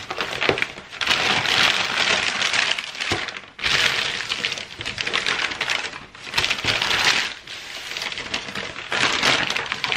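A large, thin sheet of already-crumpled white packing tissue paper, spread flat on a wooden table, is rubbed, pressed and crinkled with fingertips and palm. The result is dense, bright, crackling rustles that come in continuous bursts with a few brief pauses, with almost no low end.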